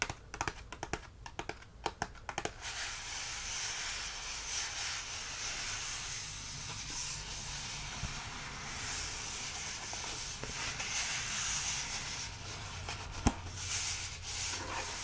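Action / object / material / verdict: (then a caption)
tap / small cardboard tea box / cardboard / none. Fingertips and nails tap and rub along the faces and edges of a small, hollow, rectangular cardboard tea box holding tea bags. A quick run of crisp taps opens the clip, then gives way to a steady, bright, scratchy rubbing hiss, broken by one sharp tap near the end.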